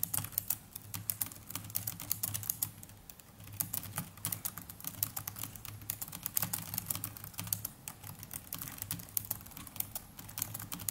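A small black netbook's black plastic laptop keyboard, with plastic chiclet keys, is typed on continuously with the fingertips of both hands. Rapid, quick clicks and taps with bright, sharp edges run steadily for the whole clip over a low, steady hum, with a brief lighter stretch around the three-second mark.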